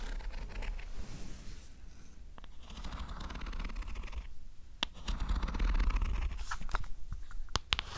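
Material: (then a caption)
Plastic. Long acrylic nails tap and scratch the textured, carbon-pattern back of a closed black and turquoise New 2DS XL, a small hollow plastic handheld game console. Quick, fairly irregular clicky taps mix with bright scratching and scraping over a low rumble, getting louder toward the end.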